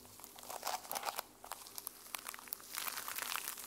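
Fingernails scratch across the teal sequin cover of a small fabric journal held in both hands. It makes a dense run of bright, crinkly, rustling clicks with no low end, swelling and fading as the nails sweep back and forth over the sequins.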